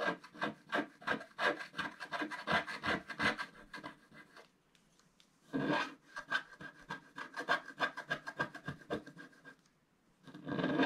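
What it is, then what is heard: Scratch-art card being scraped. A wooden stylus scratches the black wax-like coating off a flat scratch-art card, a coloured printed paper board lying on a table while the other hand holds it. Quick, dry, raspy strokes come in rapid bursts with a bright scratchy edge. The strokes stop briefly twice, then resume.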